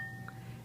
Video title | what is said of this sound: Black Stone Sports® G 02 Training Video | listen for a ring if you do not hear a ring and you hear a dull sound there is a fracture in the wheel and it should be discarded